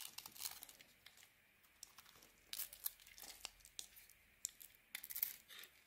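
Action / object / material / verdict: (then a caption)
scrape / bar of soap scraped with a metal blade / soap / none. A metal blade carves a solid white soap bar with a grey coating, scraping off flakes. The quiet, bright, dry scrapes and crinkly crackles come in a series of short, separate strokes with brief pauses between, with almost no low end and no ringing after each stroke.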